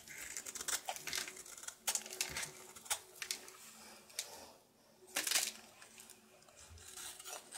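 A solid soap bar with a red outer layer is held in the hand and shaved with a knife down to its white-blue core. Quick, bright scraping and crisp shaving strokes come in a rapid run of short bursts, with brief pauses between them.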